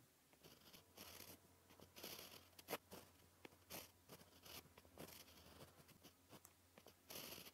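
A white gel pen writes on a sheet of black paper, giving a string of soft, dry scratching strokes with bright, hissy edges. The strokes come in short bursts separated by brief pauses, and a faint low hum runs underneath.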